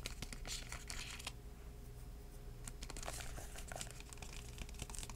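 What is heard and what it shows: A hardcover book with a purple floral cardboard cover is held in the hand and tapped and scratched on the cover with fingertips. Quick, dry taps mix with crinkly scratching over a steady low hum.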